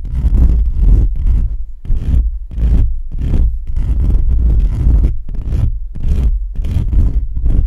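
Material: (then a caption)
Metal mesh. Both hands scratch and rub the bare perforated metal mesh grille of a black USB condenser microphone's hollow head with fingertips and short nails. The result is repeated bursts of direct contact noise: a heavy, booming low rumble with a brittle, scratchy rasp and faint bright hiss on top. The scratching pauses briefly between strokes.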